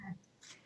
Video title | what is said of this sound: Pam Taylor Friday 10/23 | It doesn't sound right to me. It doesn't sound like wax. It sounds like wood.